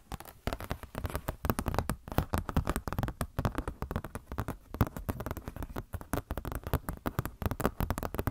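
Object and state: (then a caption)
Glossy paper catalog. Long nails rapidly tap and scratch a thin, glossy paper Blizzard Shop catalog booklet held up in both hands. The result is a dense, continuous run of short, dull, crackly taps and papery scratches, mostly low and muffled with little brightness.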